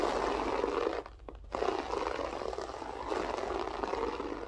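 Long nails scratch and rake across a grey loop-pile berber carpet floor, using a single finger and the whole hand. A steady, dry, mid-range rasp of fibers being dragged fills the clip, dropping briefly quieter for about half a second near the start before resuming at full strength.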